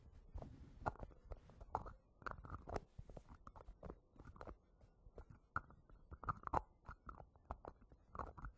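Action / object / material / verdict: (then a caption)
tap / small plastic jar with plastic lid / plastic / none. Fingertips tap and scratch the yellow plastic lid of a small round green plastic hair wax jar standing on cloth. The result is a quick, irregular run of dry, short clicks with a hollow tone near 870 Hz and soft low thumps, separated by faint scratchy rustling.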